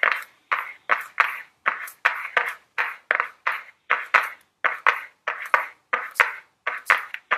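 Very long blue nails tap the front of a small, flat Ellen Tracy cardboard makeup palette box held in the hands. The result is a steady, rhythmic run of about twenty quick, dry clicks, each a short, bright tick around 1.2 kHz that fades almost instantly with no low-end weight.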